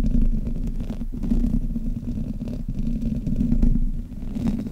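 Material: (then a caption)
Metal mesh. Fingers and nails grip and rub the top and sides of the hollow metal mesh grille on a black Blue Yeti microphone. The result is a dense, continuous low rumbling scrape, heavy in the bass with a steady band around 200 Hz and little high content, swelling and dipping without clear separate strokes.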